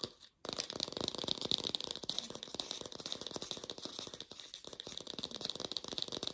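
An artificial plastic pear is tapped rapidly with a lo-fi sound, giving a dense, dry, rattling stream of short clicks after a brief silence at the start. The taps are bright and thin, with a steady tone around 3.8 kHz and almost no low end.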